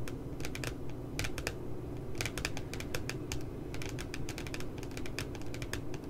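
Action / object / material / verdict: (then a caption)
tap / spiral notebook with glossy paper cover / paper / none. Fingers and nails tap rapidly along the bottom edge of a spiral notebook with a glossy, cute puppy paper cover. The result is a quick, irregular stream of bright, crisp clicks over a steady low hum.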